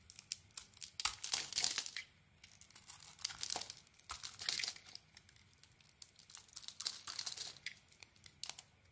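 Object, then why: Solid soap bar scraped by a metal blade. A metal blade shaves thin strips off the white face of a purple-dotted solid bar of soap held in the hand. Each stroke makes a dry, crisp scraping and crinkling burst, bright and high with almost no low end. The strokes come in quick clusters separated by short quiet gaps.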